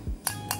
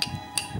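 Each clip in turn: First: Two light metal ticks on a lithium cell, thin and quickly gone, the hollow tap of a poor cell. Second: Two crisp, high metallic ticks that die almost at once: a well-filled 18650 cell sounding solid.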